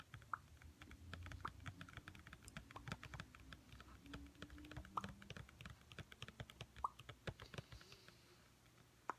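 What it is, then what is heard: Plastic cookie tub tapped. Long painted fingernails tap rapidly on a clear, medium-size, hollow plastic Trader Joe's Chocolatey Cats cookie tub that is partly filled with cookies and held in both hands. The result is a quick, uneven run of light, dry clicks, with a few sharper, louder taps standing out over a low background rumble.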